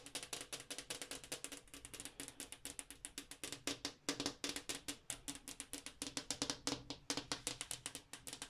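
Long acrylic nails and fingertips tap rapidly and irregularly on the solid pane of a large, flat glass bathroom wall mirror. Each tap is a bright, sharp click with a faint glassy tone around 285 Hz, dying away almost at once.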